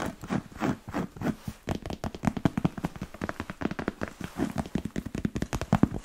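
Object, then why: Smooth leather boot upper. A black smooth-leather Chelsea boot with a thick rubber sole is held sideways while fingernails tap and scratch its leather upper and elastic panel. A rapid run of short, dry, muted taps mixes with soft scraping, mostly low and warm with little brightness. Each tap dies away almost at once.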